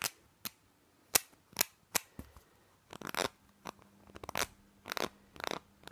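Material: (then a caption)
Plastic. A small, hollow white plastic spray bottle with a green label is held in the hands and tapped and scratched with fingernails. Sharp, bright, dry clicks come in an irregular series, mixed with short, raspy scratching bursts, each dying away almost at once with very little low end.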